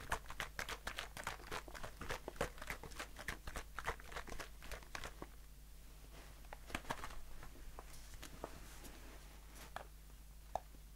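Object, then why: Aluminium aerosol can with plastic cap. A blue aluminium aerosol shaving foam can with a plastic cap is held in the hand and tapped and scratched with fingertips and short nails. Quick, dry, irregular taps and scratchy crinkles come densely for the first five seconds, then thin out into sparser scraping with a few sharp isolated clicks near the end. A steady low hum runs underneath throughout.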